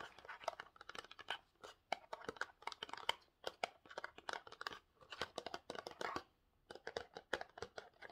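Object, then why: Small printed cardboard box. Short nails and fingertips scratch and tap a small rectangular printed cardboard Pantene box. The result is a quiet, rapid run of dry, crisp scratches and light taps with a papery crackle and bright edges, almost no low end, and no ring after each stroke. Brief pauses break up the bursts.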